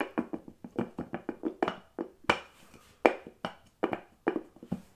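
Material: Glass, bamboo.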